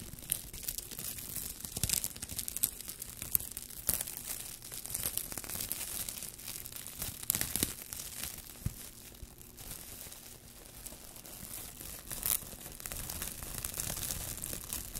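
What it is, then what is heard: Plastic cling wrap. A loose sheet of thin, clear plastic cling wrap is held up and stretched between the hands while the fingertips crinkle and pull it. The result is a continuous, dense, quiet crackle of bright, dry snaps with occasional louder pops, over a faint steady low hum.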